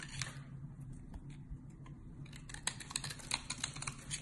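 A metal box-cutter blade scrapes and shaves the edge of a solid, cream-colored, rectangular, palm-sized bar of soap held in the hand, leaving powdery flakes piled beside it. Soft, dry, bright scraping starts the clip, then becomes a quick run of crisp, clicky shaving ticks over a steady low hum.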